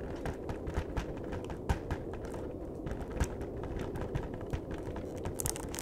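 Fingertips tap quickly on the face and edge of a flat cardboard chocolate box, making a dense, steady patter of soft, dull taps. Occasional sharper clicks stand out, and the sound stays mostly low with very little brightness.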